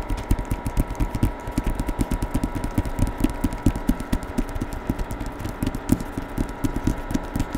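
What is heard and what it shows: Fingertips tap quickly on the cover of a hardcover novel with a paper dust jacket and portrait cover, held in both hands close to the mic. A steady run of short, dull, low thuds with almost no ring plays over a faint constant hum.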